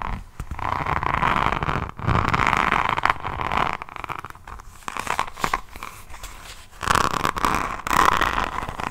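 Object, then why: Notebook with beaded resin rhinestone cover. A hardcover diamond painting notebook with a beaded resin rhinestone cover is held up close and scratched with long nails across the rhinestones. The sound is a dense, crunchy, clicking scratch centered around 1 kHz. It comes in several swelling bursts separated by quieter, sparser ticking.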